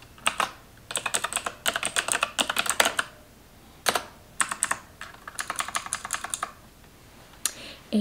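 A full-size black plastic computer keyboard resting on a counter is typed on with long acrylic nails and fingertips. Rapid, bright, clicky key taps come in bursts separated by short pauses, and each tap dies away almost at once. Faint soft speech may be present in the background.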